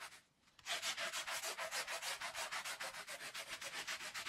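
A small, thin, soapy Persian-style woven wool pile rug lies flat on the floor and is scrubbed vigorously with a handheld plastic bristle brush while the other hand rests on the rug. After a brief quiet start, rapid back-and-forth strokes make a steady bright, hissy scratching that pulses at about three and a half strokes per second.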